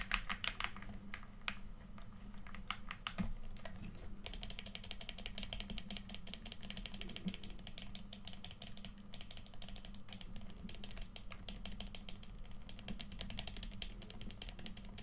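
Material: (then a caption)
Plastic. A hollow red plastic PS4 controller is held in both hands and tilted slightly while fingertips rapidly click its buttons. Quick, dry plastic clicks patter almost continuously and grow denser and brighter after about four seconds, over a steady low hum.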